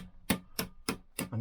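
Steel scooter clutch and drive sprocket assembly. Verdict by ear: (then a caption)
Seated. A hammer taps the steel clutch and drive sprocket assembly of a 1964 Lambretta Li125 four times at an even pace to check that it has settled. Each tap is a short, bright metallic tick with a quick spring ring, and the assembly bounces up. The clutch is properly seated.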